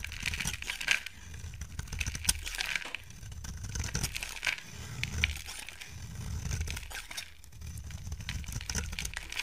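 A solid lilac soap bar held in the hand is shaved with a utility knife blade. Dry, crinkly scraping and crackling shavings come in bursts over a low rumble. Short, bright cracks poke out as the blade bites into the soap.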